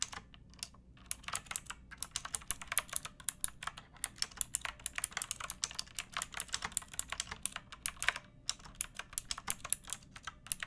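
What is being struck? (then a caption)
Plastic mechanical keyboard with round keycaps. Fingertips with long painted nails type on a pink backlit plastic mechanical keyboard with round typewriter-style keycaps and a hollow case. A steady stream of sharp, bright, clacky keystrokes with very short decay carries over a faint low background hum, with brief pauses between bursts.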